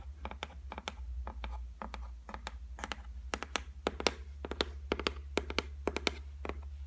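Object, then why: Laminated board shelf tapped with fingernails. Long white nails tap rapidly and irregularly on the flat top of a solid white laminate shelf board. Each tap is a short, dry, bright click with almost no ring. A steady low hum runs underneath throughout.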